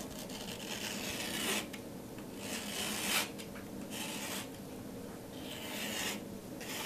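A metal palette knife drags and scratches through a thick layer of teal paint on a flat acrylic-painted canvas board also coated in pink paint. The sound is a dry, bright rasping scrape that swells and fades in repeated strokes of uneven length.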